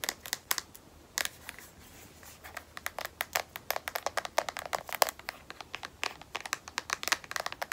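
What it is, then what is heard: Phone in rubberized plastic case. Long nails tap a smartphone held edge-up in a solid black matte rubberized plastic case. Quick, irregular runs of short, dry, bright clicks stop with no ring, with a brief pause after the first second. A faint low hum sits underneath.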